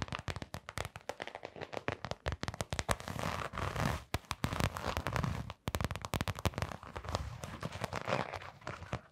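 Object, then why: Canvas sneaker with rubber sole. Long nails scratch the textured brown rubber sole of a hollow, empty blue canvas sneaker. The result is a dense run of rapid, dry crackling scrapes with heavy low body and a bright edge. Each burst dies instantly, with brief pauses just after 4 and 5.5 seconds.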